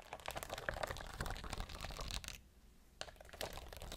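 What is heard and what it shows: Long blue nails scratch and tap over the stones of a clear plastic rhinestone-grid sheet held close to the camera. The result is a dense, crinkly run of quick clicks and scratches, with a short lull a little past the halfway point before the tapping resumes.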